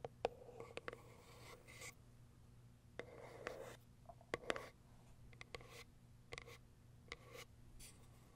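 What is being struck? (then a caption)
Small cardboard box. Long acrylic nails tap and scratch the top of a small white cardboard product box. Quiet, sharp clicky taps alternate with bursts of dry, papery scratching that have a hollow mid-range tone. A faint, steady low hum runs underneath.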